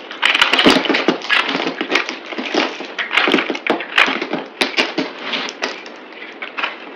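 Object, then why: Bar of soap cut with a knife blade. A palm-sized oval bar of green speckled soap is held in hand and shaved and cut with a utility knife blade at double speed, its crumbs falling onto a pile. Dense, crisp scraping and cracking bursts follow one another rapidly, bright and dry with very little low end and almost no ring.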